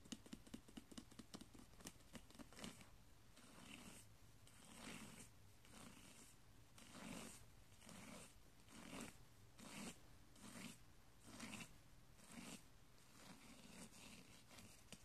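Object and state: Woven straw braid scratched.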